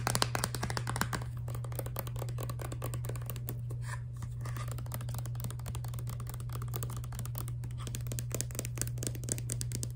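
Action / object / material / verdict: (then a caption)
tap / soft plastic toothpaste tube / plastic / none. A filled Crest toothpaste tube of soft laminate plastic with a white cap is tapped and handled with long nails. The result is a rapid, irregular stream of light clicky taps and scratchy rustles. A steady low hum runs underneath.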